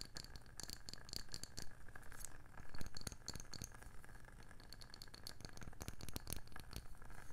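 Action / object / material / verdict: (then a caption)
tap / wooden candle lid / wood / none. The rim and underside of a round wooden candle lid with layered rims, held close, are tapped rapidly with long nails. Quick, dry, bright clicks patter in uneven bursts over a steady low hum. Each tap dies away almost instantly.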